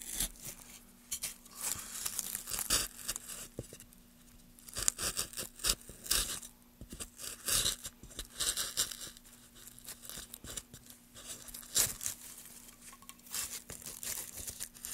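A small gouge carves along the grooves of a solid pale wood block held in gloved hands. Short, bright, dry scraping strokes come in quick irregular bursts, with the shavings crinkling, over a faint steady low hum.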